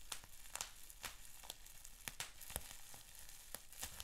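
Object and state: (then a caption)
Plastic bubble wrap being popped. Fingers pinch, twist and pop a sheet of clear plastic bubble wrap with small bubbles. Sharp, bright pops snap out irregularly over a steady soft crinkling and a faint low hum, each pop dying away almost instantly.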